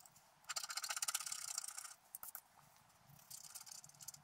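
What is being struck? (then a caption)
Black-coated scratch art paper card scraped with a wooden stylus. A wooden stylus scratches short strokes into the coating of a flat, thin, black-coated scratch art card while the other hand steadies it. A dense run of bright, dry rasping scrapes comes first, then a couple of brief scratches and a softer stretch of scraping toward the end. The sound is high and papery, with almost no low end.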